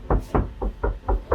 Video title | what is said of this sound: Masa Sih Ngaruh Peredam Ringan Cegah Body Penyok & Blocking Noise Fortuner 2011 +62 8194 6777 000 | kokoh, tidak cempreng seperti pada awal sebelum pemasangan.